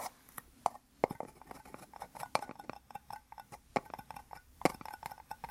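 Two small, hollow, empty white plastic cups joined rim to rim are held in both hands and tapped with fingertips and nails. The result is a quick, irregular series of light, dry, hollow clicks and taps with a faint tone around 300 Hz. Each tap dies away almost instantly, and the whole clip is quiet.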